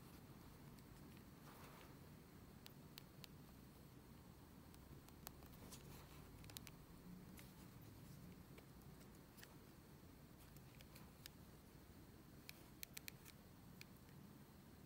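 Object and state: Plastic phone casing.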